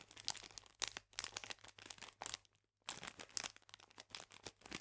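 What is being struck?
Plastic bag full of biscuits.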